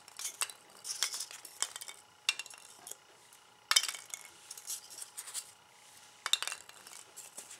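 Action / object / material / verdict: drop / expanded polystyrene packing peanuts on a wooden board / polystyrene foam / none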